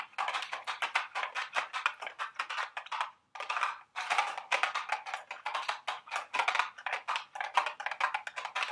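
A small, hollow, printed cardboard candy box shaped like a milk carton is held in the hands and tapped and scratched with long, sharp acrylic nails. The result is a rapid run of dry, papery clicks and brushing scratches, centered in the mid range with bright edges, with brief pauses near three and four seconds.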